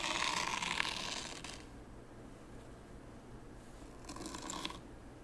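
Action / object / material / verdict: scrape / fine sand in a wooden tray / sand / none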